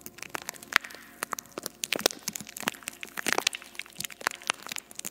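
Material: Metal mesh.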